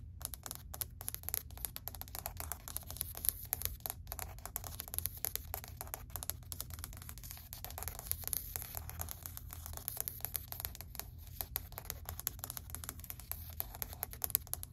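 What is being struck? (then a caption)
Wood-look laminate plank. Long white acrylic nails rapidly tap and scratch across a flat, solid grey wood-grain laminate plank. The dense, quiet clicks are sharp and short with no ring, and a steady low hum sits underneath.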